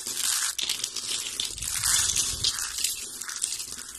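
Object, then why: Soap shavings. Dry brown soap flakes, lying beside a rolled soap spiral, are broken and crushed between the fingers and in handfuls. The result is a dense, continuous, bright crunching and crackling with a faint low rustle underneath and no clear gaps between the crushes.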